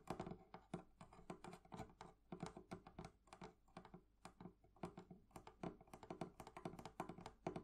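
The metal fittings of a thrift-shop wooden barrel chest are tapped with fingernails and fingertips in a quick, irregular patter. Each tap is a short, dry click with a soft low knock and a bright tick, dying away almost at once in a small, close space.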